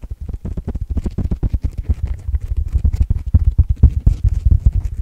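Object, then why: Porous foam sponge block. Fingertips scratch quickly across the top and edge of a solid, coarse open-cell white foam sponge block held in one hand. Dozens of short, dull, low thumping scratches come in a rapid, uneven run. The sound is deep and muffled, with almost no bright content and each stroke dying away almost at once.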